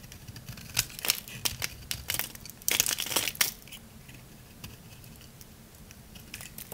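A utility knife blade shaves curls off the surface of a round, solid, palm-sized bar of dry lavender soap. The result is a run of dry, crunchy, bright scraping crackles, densest in the first half and thinning into faint, scattered ticks. Each crackle stops almost at once.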